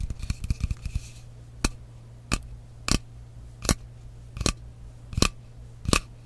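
Fingernails tap and scratch the side of a frosted glass mist bottle with a metal cap. It opens with a quick flurry of light taps and scratching, then seven separate, sharp, bright clicks at a slow, uneven pace. A steady low hum runs underneath throughout.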